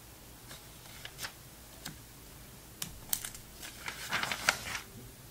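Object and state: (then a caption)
Glossy magazine pages being turned. An open glossy paper magazine, a vintage November 2002 issue of Sports Illustrated, is held flat while fingertips turn its thin pages one after another. Soft, bright papery swishes and crisp crinkles arrive at uneven intervals, quiet at first and then clustering into a busier, louder run of rustles and crackles toward the end.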